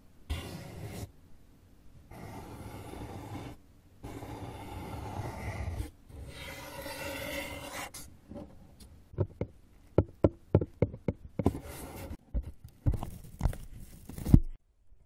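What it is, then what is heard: Cardboard box, rubbed and scratched. Fingers rub and scratch the walls of an open, hollow brown corrugated cardboard box, making long, low, rasping scrapes for the first eight seconds. These give way to a series of short, sharp, hollow knocks with quick decay, interspersed with brief scratches.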